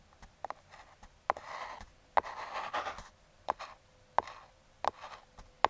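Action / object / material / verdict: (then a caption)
scrape / small closed kraft cardboard box / cardboard / none. Metal claw fingertip picks tap, scratch and trace across the top and logo of a small, closed Aukey brown kraft cardboard box held by a thumb. About ten sharp, dry clicks stand out, separated by softer raspy scraping strokes with a mid-range papery tone around 850 Hz. Each click stops almost instantly, with no ring.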